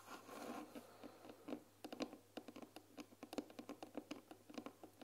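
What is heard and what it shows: Long nails scratch and tap the wooden side panels of a closed, medium-sized white painted wooden tea box with a glass lid, filled with tea bags. A soft, rustling scratch over the first second gives way to a rapid series of short, dry taps that stop almost instantly, with a faint steady low hum underneath.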